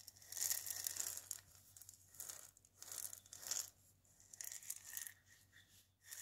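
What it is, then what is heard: Dried gourd maraca. Fingernails scratch the wooden handle and the dried gourd body of a single maraca, producing soft, bright, hissy scraping bursts that swell and fade. At the end the maraca is moved and shaken, adding a faint crisp rattle of the loose contents.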